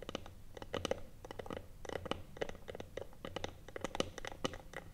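Long nails tap and scratch the top of a small, hollow, closed rectangular wooden box with a metal clasp, resting on a table. They make a rapid run of short, dry clicks and scrapes with a faint hollow ring around 520 Hz. Each tap dies away almost at once.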